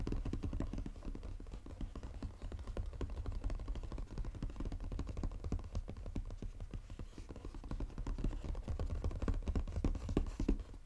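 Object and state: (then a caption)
Paperboard box. Fingernails tap fast and scratch the lid of a flat, textured brown Godiva paperboard chocolate box lying on a table. A dense, irregular stream of quick, dry taps with a muffled low body and almost no ring runs steadily throughout, with scratchy swipes mixed in.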